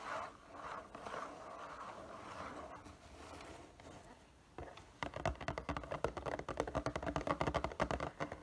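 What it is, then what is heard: Cardboard box tapped and scratched. Fingertips and nails tap and scratch the side and front panels of a hollow, printed cardboard figure box held upright. For the first few seconds there are soft, swelling scratching strokes. After a brief quiet dip, a rapid, uneven run of hollow, papery taps follows and continues to the end.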